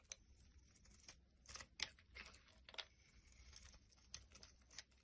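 A palm-sized solid white Palmolive soap bar, held in hand, is scraped and carved by a black-handled blade that peels shavings off it. The result is quiet, bright, crisp scraping and crinkly shaving sounds, punctuated by sharp, short clicks as the blade bites in.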